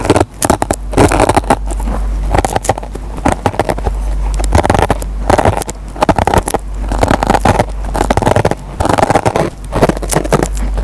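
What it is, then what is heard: Kitchen sponge with nylon scouring pad. A metal pen tip scratches and picks at the fibers of a dry kitchen sponge with a green nylon scouring pad. Dense crackling scrapes come in uneven bursts with brief pauses, over a steady low hum.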